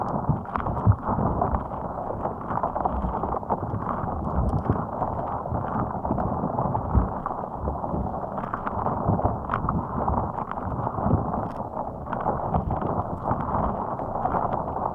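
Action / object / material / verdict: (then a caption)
scrape / soft rubber spiky ball / rubber / none. Long acrylic nails scratch and squeeze the spikes of a fist-sized, hot pink soft rubber spiky puffer ball sitting on top of a microphone. The result is a steady, dense, muffled scratching and rubbing with a heavy low rumble and frequent small clicks and ticks. It runs continuously, with no bright highs.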